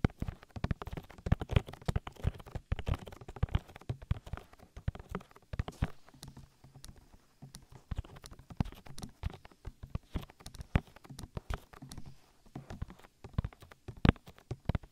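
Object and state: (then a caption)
Silicone microphone ear being rubbed. An oiled hand rubs and presses over the silicone ear of a binaural microphone with its fingertips and nails. The result is a dense run of close, soft, low thumps and brief slick taps, heavy in the lows with almost no high content, plus occasional steady low hum underneath.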